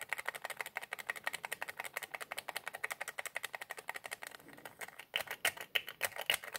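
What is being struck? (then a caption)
Plastic squeeze bottle nozzle cap. Fingertips twist and rub the white plastic nozzle cap of a small white plastic squeeze bottle with a red label, producing a rapid, steady run of dozens of short, dry, bright clicks centered around 1.9 kHz. The clicks soften briefly near the middle, then return louder and sharper toward the end. Each click dies away almost instantly, with no low-end body.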